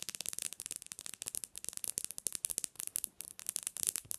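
Long nails tap rapidly on the glass screen and edges of a bare black Samsung phone resting on a pillow. The result is a quick, steady stream of short, dry, bright clicks with almost no low end, each dying away instantly.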